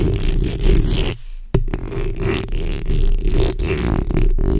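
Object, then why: Metal mesh microphone grille. The backs of long acrylic nails on both hands scratch the hollow metal mesh head of a black condenser microphone, producing a dense, rumbling scrape that is heavy in the low end. The texture drops away briefly near the middle, then returns with a sharp tap, and the scratching continues steadily to the end.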